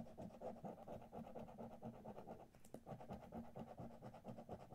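A coin held edge-on by one hand scratches the coating off a thin Monopoly-themed paper lottery scratch card lying flat on a dark spiral notebook, in short strokes that leave visible shavings. Rapid, quiet, papery scraping strokes repeat at a steady, slightly uneven pace, each one dry and quickly gone. The strokes carry a faint low-mid tonal buzz, and one sharper, brighter scrape stands out near the middle.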